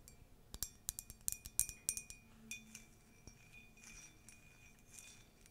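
Long nails tap and scratch the base and side of a tall, white, conical ceramic latte mug with a colourful text print, hollow and empty. A quick run of bright, sharp clinks with a faint high ring comes first, then softer, scattered taps and light scratching.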